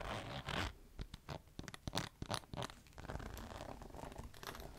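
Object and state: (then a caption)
Faux leather clutch. Long nails scratch along the textured surface near the metal zipper of a flat, medium-sized green crocodile-embossed faux leather clutch lying on a table. A loud raspy swipe gives way to a run of short, sharp scratches with bright crackly edges, then settles into a softer, continuous gritty rasp.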